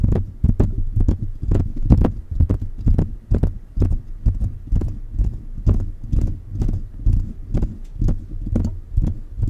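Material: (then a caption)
Metal. Fingertips tap the body and hollow mesh grille head of a silver metal USB condenser microphone. The result is a quick, uneven run of soft, dull, boomy low thumps that die out almost at once, each with a faint bright tick.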